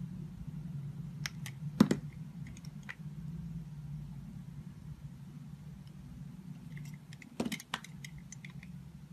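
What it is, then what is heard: Soap bar being cut. A solid oval soap bar, blue outside with a yellow and white inside, is held in the hand and sliced and scraped with a metal utility knife blade. Short, sharp bright crackles and clicks come in two clusters, near the start and again toward the end, over a steady low hum.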